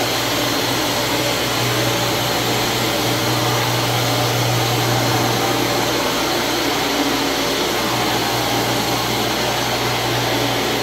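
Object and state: Nothing is struck.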